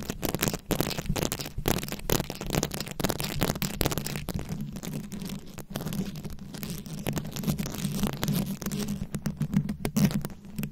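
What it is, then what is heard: Rhinestone-covered microphone. Long acrylic nails scratch and tap across a fist-sized microphone head fully covered in small glued-on rhinestones and beads. The result is a dense, continuous stream of gritty scratches and quick clicks over a heavy, boomy low rumble with a steady low tone underneath.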